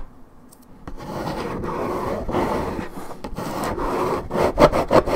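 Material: Paperboard.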